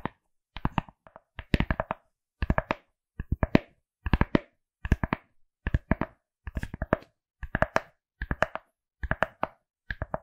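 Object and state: Fabric-covered hard glasses case.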